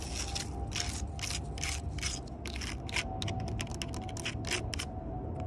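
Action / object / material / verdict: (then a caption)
scrape / bark on a wooden log / tree bark / none. Long purple nails scratch and tap the rough, ridged bark of a large solid log. Bursts of bright, dry scraping and crackling come in quick succession over a steady low rumble and a faint constant hum.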